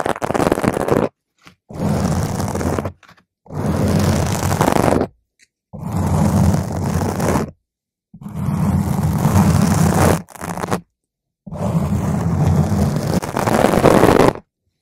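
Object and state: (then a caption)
Foam microphone windscreen being scratched. Long pointed green acrylic nails scratch and tap a purple spherical foam windscreen on a microphone, producing dense, muffled, rumbling scratching heavy in low tones with little brightness. The scratching comes in sustained bursts of one to three seconds, separated by brief silences as the hands lift off between strokes.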